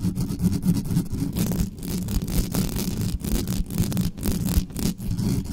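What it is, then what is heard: Metal microphone grille scratched. Long nails on both hands scratch fast across the bare mesh grille of a large, dark, hollow metal USB condenser microphone on a desktop stand. The result is a dense, continuous, boomy rasping with a heavy low-end rumble and brief rustling bursts that rise and fall without pause.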